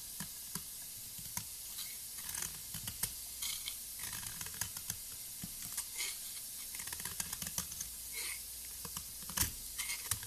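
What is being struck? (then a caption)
Soap block scraped with a metal blade. A solid blue soap block with a flat cut face, held by fingers with long nails, is scraped with a gold metal blade that peels off crumbly shavings. Quiet, bright, crisp scratching and hissing are punctuated by many short, sharp ticks and crackles with almost no ring.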